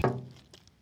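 A knock on a sheet-metal panel of a safe, checked for weak points, gives a loud, low, hollow thunk with a short ring, followed by a few fainter taps. The panel sounds very hollow and is loose, a plate that moves.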